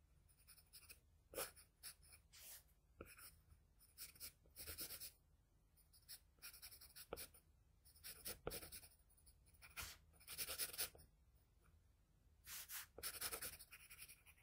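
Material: Paper.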